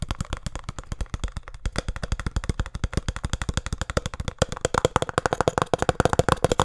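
Fingertips and nails tap fast on the faces of a small, hollow, printed cardboard speed cube box. About 58 quick, dry knocks run together in a steady stream, each with a low hollow thump and a short papery click. The tapping grows louder and brighter over the last couple of seconds.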